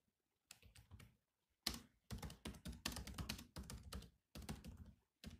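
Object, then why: Plastic laptop keyboard keys. Fingertips type on the black plastic keys of a silver laptop, producing quick bursts of crisp, bright clicky key taps with a soft low thunk under each press. The taps come in short runs separated by brief silent pauses, and each one dies away almost instantly.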